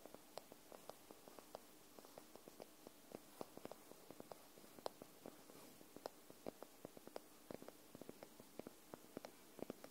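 Long nails tap the top paper edge of a white paperback book held upright, making about twenty quick, dry, soft taps that stop almost instantly over a faint steady background hiss. The taps land at an irregular, unhurried pace, and the book sounds solid.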